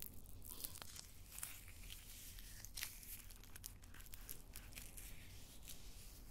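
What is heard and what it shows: A whole, solid raw brown onion is held close to a microphone while its dry papery skin is scratched and rubbed with long painted nails. The result is quiet, bright crinkling and crackling, with short scratchy bursts over a steady low rumble.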